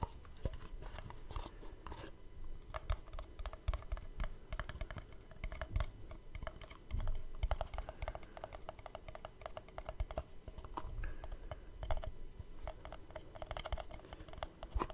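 A small, hollow black cardboard gift box is held up close to the microphone while fingertips and short nails tap and scratch across its flat faces and edges. The result is a rapid, uneven stream of dry, clicky taps with a dull, low body, each one dying away almost instantly, interspersed with soft scratching.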